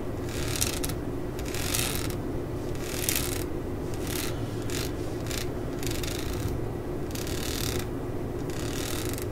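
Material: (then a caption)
Rubber. Long acrylic nails scratch and tap along the ridges of a tan, solid, hand-sized rubber grip on the handle of a claw hammer lying on a mat. Bright bursts of scratching come and go over a steady low rumble, with light ticking taps mixed in throughout.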